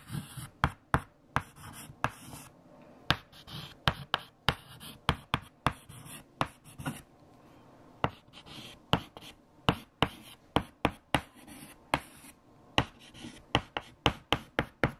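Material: Chalk.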